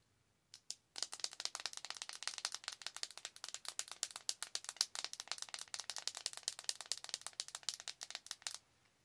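A small, flat pink ColourPop eyeshadow palette with a hollow plastic case and a clear lid over pressed powder pans is held in both hands and tapped and scratched with long acrylic nails. A couple of isolated taps lead into a fast, continuous run of sharp, dry, bright clicks with almost no low end, each one dying away instantly, and it stops abruptly near the end.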